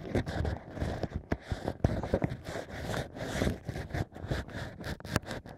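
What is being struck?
Bamboo ear pick in a drilled natural cork.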